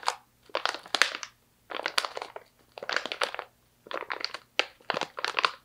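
Fingertips with long nails crinkle and squeeze a medium stand-up plastic pouch partly full of slivered almonds. Dense bursts of crisp, bright crackling come in short clusters separated by brief silences. There is no low end, and each crackle dies away almost instantly.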